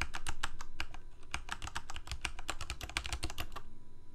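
Fingertips of both hands type rapidly on a full-size black plastic Corsair mechanical keyboard with lit keycaps. A quick, uneven run of sharp, bright key clacks sits over a deeper thud from each press, with each stroke dying away almost at once. The flurry continues steadily and stops just before the end.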